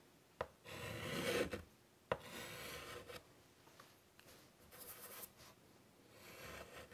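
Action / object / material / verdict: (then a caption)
scrape / chalk stick on a wood-framed chalkboard / chalk / none. A white stick of chalk held in the fingers scratches across the black surface of a large, flat, wooden-framed chalkboard, drawing butterfly outlines. Sharp taps mark the chalk touching down, followed by long, bright, rasping strokes that fade into lighter, quieter scratches.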